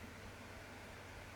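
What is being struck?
Nothing is struck.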